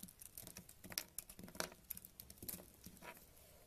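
A purple knife blade scrapes crumbly flakes off a solid tan bar of soap held in a hand with painted nails. The sound is a quiet, irregular patter of soft, dry scratches and crisp crumbling ticks with a bright, high edge, each one dying away almost instantly.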